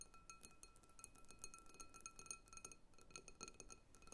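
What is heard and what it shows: Long nails tap quickly and lightly on the outer walls of a medium clear glass bowl filled with water-gel beads. The taps make a dense run of bright, glassy clinks, and a faint steady ring of the glass sits underneath at a quiet level.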